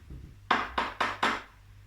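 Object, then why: Small metal ointment container. A metal Vaseline container is knocked four times, each tap giving a bright, short metallic tick centered around 1 kHz that fades quickly. A magnet test confirms it has metal in it, and it sticks.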